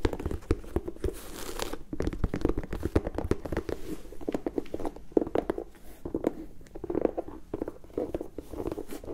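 An empty turquoise-and-white leather and rubber high-top sneaker is held in the hands and scratched with long nails across its leather panels and rubber midsole. The result is a dense run of dry, crackly scratches and quick taps with a low, muffled body, each stroke dying away almost instantly.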